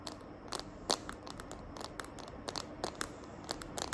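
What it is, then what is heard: Plastic phone case tapped and scratched with nails. Long nails tap and scratch the back of a smartphone in a small green glitter plastic case held in the hand. The result is a quiet, irregular series of short, bright clicks over a faint crinkly scratching hiss.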